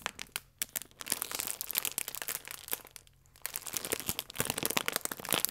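A full plastic film croissant pack is held in both hands and gently squeezed and crinkled with the fingertips. Bright, crisp crackles and crinkles come in uneven bursts, with two brief quieter pauses between them.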